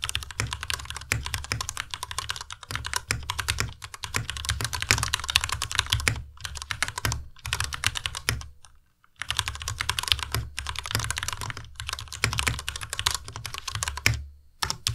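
A compact white Ducky Miya Pro mechanical keyboard with white plastic keycaps and Cherry MX Red switches is typed on continuously with the fingertips of both hands. Rapid, bright plastic clacks over a low thud fill the clip, broken by brief pauses near 9 and 14.5 seconds. Each keystroke dies away almost instantly.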